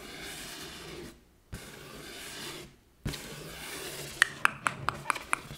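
An inflated, air-filled yellow latex balloon held at its right side is scratched with long nails, giving a steady, bright rubbing hiss broken by two short silences. It ends with a quick, uneven run of sharp, clicky taps on the taut surface.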